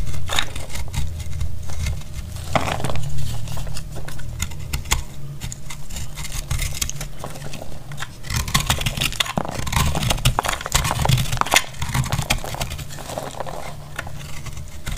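A metal blade cuts and scrapes a solid, dry blue-white speckled soap bar held in the hand. Dry, crackly scraping and bright crumbling bursts sit over a steady, heavy low rumble throughout.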